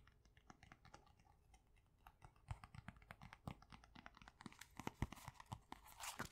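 A pink pad of paper sticky notes, held flat in one hand, has its top and edges tapped and scratched with long nails. Quick, dry taps and papery scratches patter unevenly, growing louder and brighter toward the end with a few sharper crisp hits.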